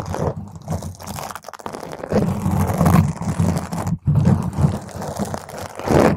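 Long nails on both hands scratch and claw intensely at a round purple foam microphone cover. The result is a dense, muffled, crunchy rumble, heavy in the low end with almost no brightness, swelling and fading in waves with a brief drop near the four-second mark.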